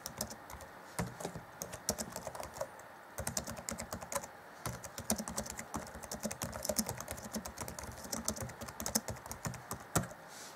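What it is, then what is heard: Plastic laptop keyboard. Black plastic chiclet keys on an Acer Chromebook C20 (2014) laptop keyboard are tapped rapidly by the fingertips of both hands. The result is a steady stream of short, dry clicks with bright edges and soft low thuds beneath, broken by a few brief pauses.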